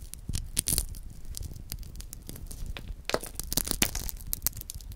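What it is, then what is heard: Chocolate hazelnut praline being crumbled. A chocolate hazelnut praline, already broken open, has its wafer shell and nut pieces crumbled and crushed further between the fingertips. Dry, brittle crackles and crunchy snaps burst in quick irregular clusters, with bright crisp clicks over a soft low rumble. It is busiest near the start and in a denser run toward the end.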